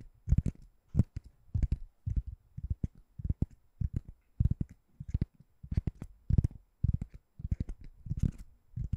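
Long nails tap and scratch a white ring-shaped door stopper that looks like solid foam or rubber, held above the microphone. The result is a quick, irregular series of soft, dull thuds and scuffs, deep and muffled, each dying away almost instantly with no ring.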